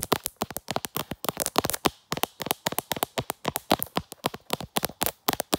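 Long black nails tap and scratch the back of a hand-sized smartphone in a brown leather-look case with a black pop grip, working around the camera lens. The result is a rapid run of short, dry, crackly clicks with little low end and almost no ring.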